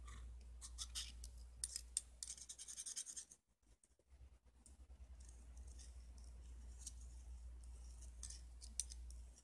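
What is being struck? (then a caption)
Steel open-end wrench. A solid, hand-sized, chrome-plated steel open-end wrench is held upright in the left hand while the right hand scrapes and taps it with a thin metal tool like a screwdriver shaft, near other tools lying on a red bandana. Quiet, bright, scratchy scrapes come in irregular bursts with short, crisp ticks, over a steady low hum. The scraping briefly drops to near silence partway through before resuming.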